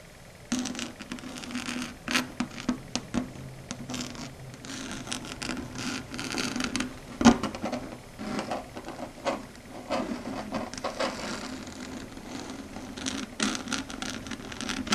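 Long red stiletto nail tips tap and scratch across a flat dark grey chalkboard surface. After a brief quiet start comes a steady run of quick, dry clicks and rubbing scrapes with a mid-range body and bright edges, some taps landing sharper and louder than others.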